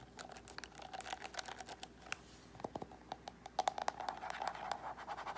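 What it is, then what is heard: Plastic paddle hairbrush. Fingernails on both hands scratch rapidly over the plastic pins of a paddle hairbrush with a black cushion, then move toward the edge of the brush. The result is a quick run of short, dry, clicking scratches with a faint tone near 770 Hz and bright, airy edges. There is almost no low end.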